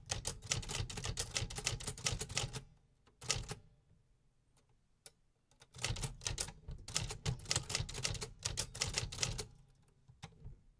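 A vintage 1950s hollow metal-bodied desktop typewriter is typed on steadily with fingertips, producing fast, bright clacking key and typebar strikes. The typing comes in two long bursts with a short burst and a few isolated taps between them. Each strike is sharp and dies away almost immediately.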